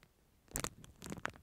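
Fingertips scratch and crinkle a clear, thin plastic film sleeve wrapped around a disposable plastic spoon, held close to the microphone. After a near-silent half second, bursts of bright, crackly crinkling and scratchy rustle follow in quick succession, each snapping off almost instantly.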